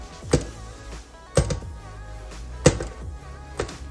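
A glass is dropped several times onto a Rubbermaid silicone sink protector mat lying on the bottom of a sink, producing three short, dull, cushioned thuds with a few lighter taps between them. The impacts are low-pitched with almost no ring, over a steady low hum. The mat protects the glass so it shouldn't break.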